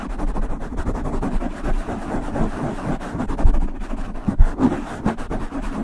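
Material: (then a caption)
Foam. Long nails on both hands scratch and rub the sides of a black foam windscreen on a silver microphone. The result is a dense, muffled scratching and rustling that sits mostly in the low end, with a few louder brushes standing out from the steady texture.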